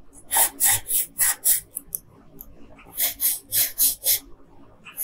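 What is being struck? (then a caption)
Wooden colored pencil rubbed on a paper sheet. A yellow wooden colored pencil, held in a hand with long pink nails, rubs back and forth across a flat printed paper coloring sheet. It makes quick, bright, scratchy strokes in two runs separated by a short pause, each stroke a brief hiss with almost no low end.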